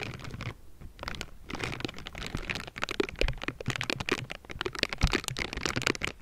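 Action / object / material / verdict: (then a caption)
scrape / metal mesh microphone grille brushed with a silicone glove / metal mesh / none. A pink silicone bristle glove brushes and scratches across the top of the hollow metal mesh grille of a Blue Yeti microphone. Dense, bright scratchy crackles and rustles run throughout, with short, dry low thumps where the bristles catch the mesh.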